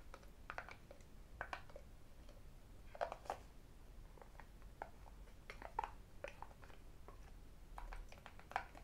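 A small, hollow, rectangular white cardboard iPhone box is held in both hands while fingertips and rings tap and scratch its surface. Quiet, irregular clusters of short, hollow taps and bright clicks sound over a low steady background hum, with light scratching between them and each tap dying away almost at once.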